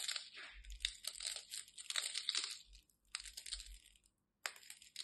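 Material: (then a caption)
Soap. A solid white bar of soap held in the hand is scraped and carved with the tip of a craft knife, sending flakes crumbling off. Bright, dry scratching and crumbly crunches come in uneven bursts, with a short pause near the end before one more sharp scrape.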